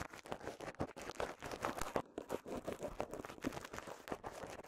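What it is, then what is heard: Plastic bubble wrap. A small wad of clear polyethylene bubble wrap with visible air bubbles is popped and crinkled with the fingertips. Dense, quiet crackling and crinkling is broken by many short, sharp pops that stop almost instantly, with most of the sound sitting in the midrange.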